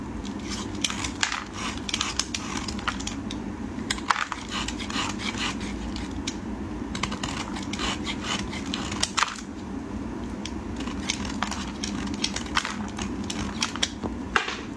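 A metal utility blade scrapes the edges of a solid white soap bar held in gloved fingers, shaving off dry flakes. Quick, dry crackling scrapes and sharp clicks repeat throughout over a steady low hum.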